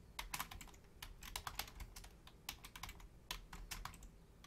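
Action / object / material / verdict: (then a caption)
tap / plastic computer keyboard / plastic / none. Long-nailed fingertips tap quickly on the membrane keys of a black plastic Logitech full-size keyboard with a hollow shell. The result is a quiet, irregular run of short, bright clicks that die away almost at once, over a faint low rumble.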